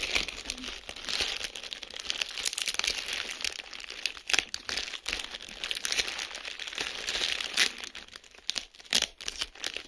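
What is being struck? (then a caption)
Plastic bubble wrap. Clear plastic bubble wrap lies flat while individual air bubbles are pinched and popped between fingertips. Steady bright crinkling of the plastic is broken by sharp, quick pops that die away almost instantly, with several louder snaps standing out.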